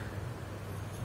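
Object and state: Nothing is struck.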